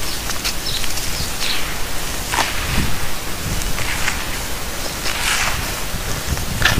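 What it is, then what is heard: Dry fuller's earth clay powder being crumbled. Powder-coated bare hands dig into a large green plastic tub of loose, dry, beige multani mitti (fuller's earth clay) powder with small clumps, squeezing and crumbling handfuls that fall back into the tub. The result is a steady soft, grainy rustle with brief brighter crackly bursts as the clumps break apart, over a low, muffled rumble.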